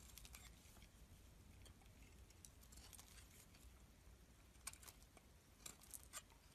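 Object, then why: Bar of soap cut with a metal blade. A solid, palm-sized pink KeraSys soap bar, held in the hand, is scraped and carved with a metal utility blade. Soft, bright scraping and crisp shaving ticks run over a low background rumble. A few sharper clicks stand out near the end.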